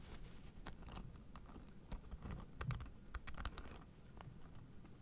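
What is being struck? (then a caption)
Plastic spikes on a fabric acupressure mat. A blue fabric acupressure mat with white plastic spike discs is held flat in both hands while long nails tap and scratch across the spikes. Quiet, uneven clicks and brief bright ticks sit over a soft, low scratching rustle, like light typing. The taps cluster and cut off quickly with almost no ring.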